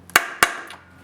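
A steel bearing that had walked partly out of an aluminum D16 transmission case is tapped back in with a punch and hammer, giving two sharp, bright metallic taps with a brief ring. The hits sound solid, meaning the bearing is fully seated in the case.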